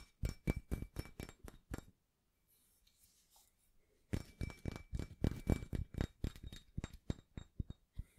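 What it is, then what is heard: Cast iron weight plate. Fingertips and nails tap and scratch the embossed face of a small, solid, rusty cast iron barbell plate with a center hole, held in both hands. A quick run of short, dull taps with a faint high ring breaks off into about two seconds of near silence with soft scratching, then the tapping resumes at a steady pace until the end.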